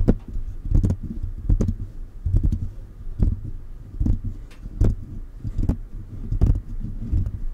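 Fingertips of both hands tap the mesh grille and body of a silver metal USB condenser microphone. The result is a loose, irregular stream of soft, deep thumps with quick, bright clicking edges, each tap dying away almost at once.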